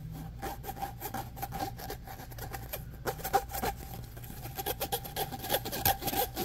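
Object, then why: Ribbed plastic pop tube. Fingernails scratch quickly back and forth along the corrugations of a hollow, orange, ribbed plastic pop tube held close up. The result is a fast, uneven series of dry rasping bursts with bright, crackly edges and a thin recurring tone around 800 Hz, over a faint low hum.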